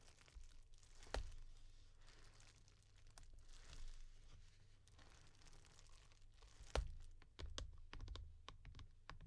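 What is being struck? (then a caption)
Small cardboard mailer box. Long nails tap and scratch the top edge and front face of a small, hollow brown cardboard mailer box for a new tee shirt, held upright. Quiet, dry scratching and rustling mix with a dull low hollow thud under the sharp clicks. A few louder, crisp taps stand out, with a quick burst of them near the end.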